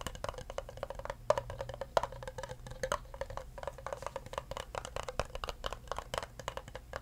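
Fingertips tap the bottom and sides of an empty clear plastic cup held upside down, producing a rapid, steady stream of short, dry, hollow clicks centered in the midrange around 650 Hz. Each tap dies away almost instantly, with a few slightly louder accents standing out early on against the otherwise quiet, even patter.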